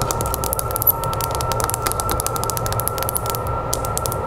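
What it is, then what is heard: Glass mirror in wooden frame. Long nails tap rapidly on the glass of an oval mirror in a wooden frame, which lies face up. The clip holds a fast, steady stream of short, sharp, bright clicks that stop almost instantly. Beneath them run a constant mid-pitched hum and a low background rumble.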